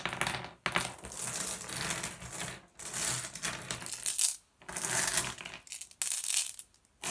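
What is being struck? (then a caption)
Small glass gem pebbles dropped onto a pile on a wooden table. A handful of small, solid blue glass gem pebbles is picked up with the fingers and dropped back onto the pile and the wooden table. The result is a dense, bright clattering and clinking of glass on glass and wood. It comes in repeated bursts separated by brief pauses.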